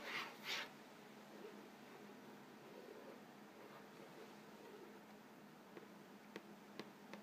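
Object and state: Cardboard cracker box.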